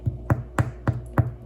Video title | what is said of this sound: Easy, Crusty Artisan No Knead Bread!! #bread #bestbread #kitchentips | you just tap on it, and it should sound nice and hollow, and that's how you know it's cooked completely through